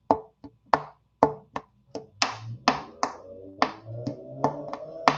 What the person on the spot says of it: I can hear that it's got that sort of uh brittle sound to it